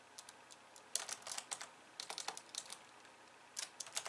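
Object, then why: Plastic computer keyboard. Long painted nails type fast with both hands on a pink plastic computer keyboard with white keys. Quiet, bright, clicky keystrokes come in quick flurries separated by brief pauses. Each tap is short and dry, with no low-end thump.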